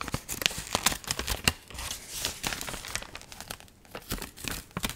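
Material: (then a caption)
Paper. Dried, water-wrinkled magazine pages are held up, bent and crinkled, and handled with long nails. The result is a dense, bright crinkling and crackling, with quick sharp snaps scattered through the rustle and almost no low end.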